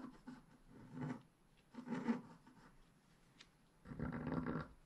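A wooden stylus scrapes away the black coating of a flat scratch-art page, etching the bottom foliage. Soft, raspy scratching comes in several short bursts with quiet pauses between them, the longest and fullest stroke at the end.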